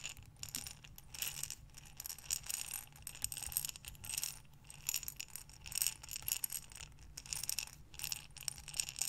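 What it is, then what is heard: Glass jar of buttons. A glass mason jar with a metal lid, filled with small buttons, is held sideways and rotated in both hands. The buttons rattle and tumble against the glass in a steady stream of quick, bright clicks that swell and fade in waves, over a faint low hum.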